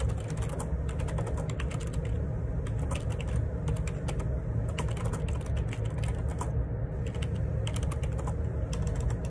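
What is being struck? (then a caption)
Plastic ergonomic split keyboard. Fingertips type steadily on the plastic keycaps of a black plastic Perixx Periboard 612 wireless Bluetooth dual split ergonomic keyboard with a hollow housing, resting on a desk. A fast, continuous stream of short, bright key taps runs over a heavy low-frequency rumble that fills most of the sound, at an even level throughout.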